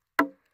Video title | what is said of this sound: Sawing Logs with My Timbery M100 | listen to that crack on this live one